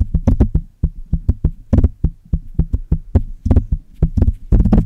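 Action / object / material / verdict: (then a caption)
tap / metal microphone body and mesh grille / metal / none. Long red-painted nails tap and scratch the metal body and mesh grille of a hollow Blue Yeti USB desktop microphone. This produces a rapid, irregular series of dull, boomy thumps that are mostly deep low end, with short bright clicks on the sharper strikes. Each hit dies away almost at once.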